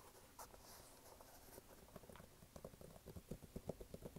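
Fingertips tap and scratch along the canvas upper and laces of a single empty, lightweight red canvas low-top sneaker with a white rubber sidewall, held up in both hands, then move to its brown waffle-pattern rubber sole. Quiet, dry scratching gives way to quicker, dull, low taps that grow a little louder and more distinct toward the end, each dying away almost instantly.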